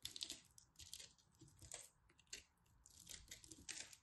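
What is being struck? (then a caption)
Pressed soap ball. A small knife carves and scrapes a pastel pressed soap ball, solid and crumbly, and soap chips fall off. The sound is a run of quick, bright, crisp scraping and crackling bursts with almost no ring, rising and fading in clusters.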